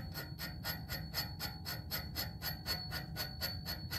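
Fingertips and nails tap rapidly on the slim, hollow, coated black metal tube of a music stand pole. Each quick, steady tap rings with a high, bell-like ping that fades fast, over a constant low rumble.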